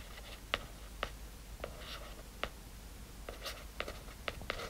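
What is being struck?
Hardcover book, paper-covered cardboard.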